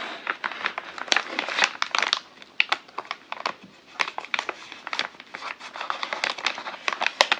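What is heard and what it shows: A large, hollow brown kraft-paper Amazon mailer bag is held and crinkled by fingertips and hand. It gives a continuous run of dense, dry crinkles and crackles, with many sharp, bright bursts and no low end. Each burst dies away almost instantly.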